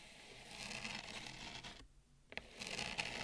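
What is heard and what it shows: Long nails slowly rub and scratch along the rim of a wide, shallow bamboo serving plate, making a dry, bright, hissy scraping. The scraping builds over the first second and a half, then drops into a brief near-silence broken by a couple of sharp ticks. A steady scratch resumes to the end.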